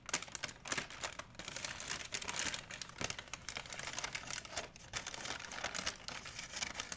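A large, empty white plastic shopping bag is held up and crumpled by one hand. Dense, bright crinkling with sharp, quick crackles runs continuously through the clip, with little low-end weight.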